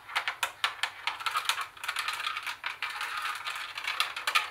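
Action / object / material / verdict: tap / plastic CD cassette boombox / plastic / none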